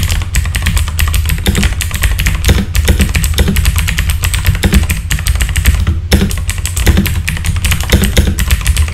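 Fast fingertip typing on a full-size backlit mechanical keyboard with plastic keycaps gives a dense, steady run of sharp clacks. Each bright click sits over a heavy low thump that dies away almost at once.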